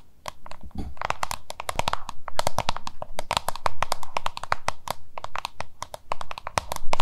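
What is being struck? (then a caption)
Plastic lunch box. Long nails tap and scratch the labeled face of a small, hollow, oval yellow-green plastic lunch box held in both hands. Rapid, sharp, bright clicks come in dense, uneven bursts, mixed with dry scratching over a steady low hum. Each tap is short and dies away almost at once.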